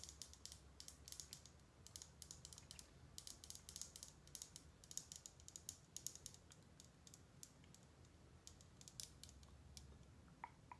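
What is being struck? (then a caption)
Thin metal ballpoint pen. Long painted nails tap and click a small, thin gold metal ballpoint pen with a hollow barrel, held close to the microphone. Quick, bright, high-pitched ticks and clicks come in uneven bursts, each dying almost instantly, over a faint low hum.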